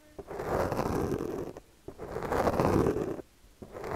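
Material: Foam.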